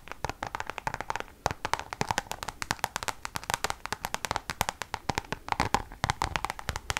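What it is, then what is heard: Coated canvas pouch tapped with long nails. Long nails tap quickly on a Louis Vuitton pouch of Damier checkered coated canvas held close to the mic. The result is a dense run of sharp, dry clicks with a hollow tone around 850 Hz and bright edges, each dying away almost instantly.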